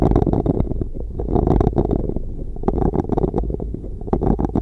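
The back of a large, light-coloured solid wooden spoon with a broad rounded bowl, held by the handle, is pressed and rubbed back and forth across a microphone's metal mesh grille. It makes a dense, low, rumbling scrape broken by quick dull bursts. The sound is close and dry, with little brightness and almost no ring.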